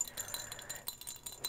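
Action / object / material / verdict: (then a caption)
shake / glass jar holding hair ties / glass / none. A painted turquoise glass whale jar is shaken with the small hair ties and scrunchies kept inside. It gives quiet, bright clinking and rattling with very short, crisp ticks.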